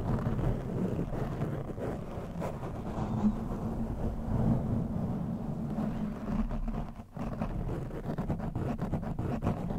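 Fingertips and short nails of both hands rub and scratch a soft, fist-sized black foam windscreen fitted over a round microphone head, gripping the sides and then the top. The result is a dense, muffled, low-heavy rustling and scratching with a faint steady low tone underneath, holding a fairly even level with a brief dip near the seven-second mark.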